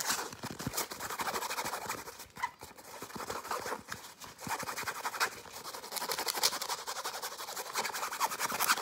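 A padded, hand-sized grey and blue nylon fabric pencil case with a zipper is rapidly tapped and scratched with short nails. The result is a dense, fast, aggressive stream of dry scratching and soft tapping, bright and papery with almost no low end, with brief quieter pauses.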